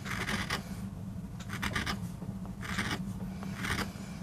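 A wooden-handled steel gouge scrapes and carves grooves into a small, flat, solid MDF board inked dark and carved with a rose design for a relief print, held flat on a rubber mat by a bracing hand with short nails. Bursts of bright, dry scratching come in short clusters over a steady low hum.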